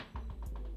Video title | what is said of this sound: Cowboys get COMMANDING win over Washington!!!! Season Saved?? | I'm knocking on wood right now